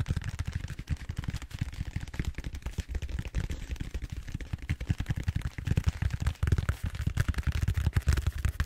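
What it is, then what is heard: Styrofoam bead-foam roller. Fingertips quickly tap and scratch the surface of a large purple bead-foam styrofoam roller held upright. The result is a rapid, dense stream of dull, low, muffled thumps with dry scratchy texture and no ring, continuing steadily throughout.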